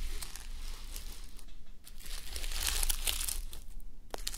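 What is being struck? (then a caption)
Plastic sequins on a fabric sleep mask. Fingertips and long nails rub and scratch a flip-sequin sleep mask, plastic sequins on fabric, resting on a mannequin head. The result is a continuous bright, crinkly scratching and rustling that swells in the middle, over a steady low hum.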